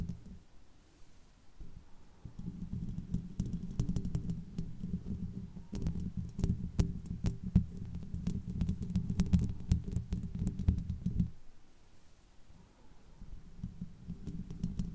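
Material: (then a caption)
Metal mesh. Long white-painted fingernails of both hands scratch and tap the hollow, domed metal mesh grille of a large condenser microphone. The sound is a dense, muffled low rumble of scraping and thumping, with sharp bright clicks scattered through the louder middle stretch. It is quieter and softer at the start and end.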